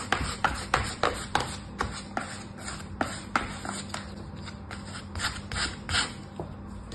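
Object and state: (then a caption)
Kinetic sand scraped in a plastic tray. A small orange plastic scoop held in the fingers scrapes and smooths a packed layer of brown kinetic sand in a green plastic tray. It makes a series of short, crisp, bright scraping strokes at an uneven pace, about three per second, over a faint steady low hum. The strokes are loudest early and grow softer and more rubbing toward the end.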